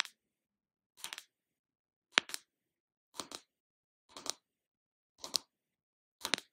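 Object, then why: Small round plastic jar lid tapped with fingernails. Long lavender nails tap and scratch on the lid of a small round plastic Body Shop shea body butter tub held in the hand. Seven short, bright clicking bursts come about once a second, most made of two quick taps, with no low end and almost no ring.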